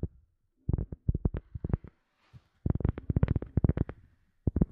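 A cork object is tapped in quick bursts of soft, dull taps separated by short pauses. The taps are low and thumping with almost no ring, giving a muffled, close-up tapping sound.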